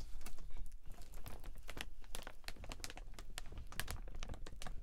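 A large, transparent plastic (PVC) dome umbrella with metal ribs is held open while hands handle and crinkle its canopy. The result is a dense, irregular stream of crinkling and crackling, with sharp, bright snaps over a low rumbling undertone.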